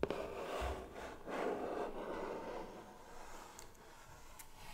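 A medium, closed, hollow white cardboard gift box with gold star cutouts on the lid rests on a lap and is tapped and rubbed with pink-painted fingernails and fingertips. Soft, hollow taps with a mid-low tone blend into quiet scraping and rubbing, with a few faint, bright nail clicks near the end. The sound stays quiet and irregular throughout.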